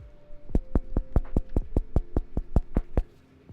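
Someone taps a freshly baked cheesy bread loaf in a quick, steady run of short, dull, low thumps with almost no ring. The hollow sound shows the loaf is baked through and done.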